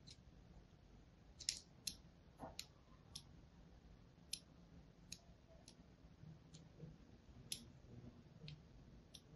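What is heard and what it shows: A thin metal needle or blade scratches and cuts grooves across the already scored surface of a solid green-and-white striped bar of soap held in the hand. About a dozen short, sharp, bright clicks and scrapes come at irregular intervals over a quiet, low background hum.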